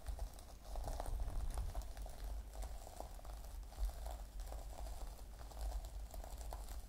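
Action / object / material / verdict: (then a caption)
scrape / fabric pouch covered in plastic sequins / plastic sequins / none. A small, flat, rectangular fabric pouch covered in silver and purple plastic sequins lies on a cloth table cover. The fingertips and short nails of both hands scratch and brush it, flipping the sequins back and forth. The result is a quiet, steady rustle of soft, crackly ticks and patters over a low, dull rumble.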